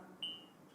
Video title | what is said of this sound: Padamnya Duka dan Caranya oleh Bhante Abhijato | Kita ketuk ini ya. Ah, ini gelas. Gelas asli.